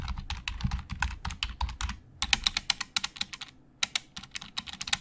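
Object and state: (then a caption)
Plastic computer keyboard being typed on. Both hands type with their fingertips on a black plastic Logitech keyboard with hollow plastic keys. Rapid, bright, dry clicks come in quick bursts, with two brief pauses. Each keystroke stops almost instantly, over a faint low rumble.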